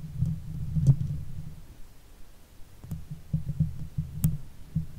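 Long white fake nails on both hands scratch the hollow steel mesh grille of a silver Blue Yeti microphone. The result is a deep, muffled rumble of rubbing and scraping, almost entirely low in pitch, with a few sharper taps and short bright clicks standing out.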